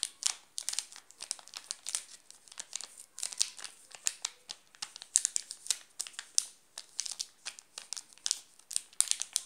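Fingertips tap and scratch across a wrapped chocolate bar in a red plastic film wrapper, making it crinkle. Dense, bright crinkling and crackling comes in many quick bursts, with almost no low end.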